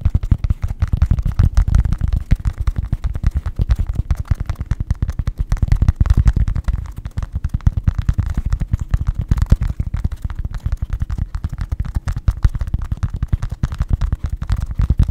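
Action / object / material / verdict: tap / fabric baseball cap / fabric / none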